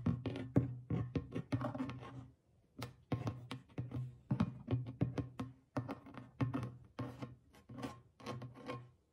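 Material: Goatskin.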